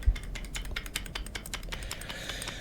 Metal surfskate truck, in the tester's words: ha un sonaglio. In effetti, puoi effettivamente sentire quel tintinnio proprio qui.